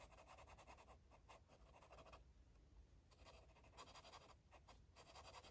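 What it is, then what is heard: Felt-tip marker scribbling on paper. A yellow felt-tip marker scribbles and scratches across a paper coloring book page. Quick, dry scratching strokes come in rhythmic bursts, pause briefly near the middle, then resume. The sound is quiet and close, with a papery midrange rasp and bright, hissy edges.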